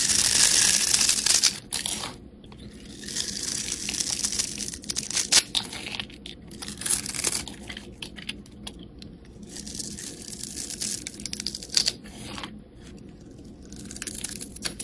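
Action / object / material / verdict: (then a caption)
scrape / bar of soap cut with a metal blade / soap / none. A metal blade scores a hand-sized, solid rectangular white soap bar with a pink layer into cubes and scrapes off small chips and slices. Bright, crisp scraping and crunching comes in dense bursts, loudest at the start and easing between strokes, with almost no low end.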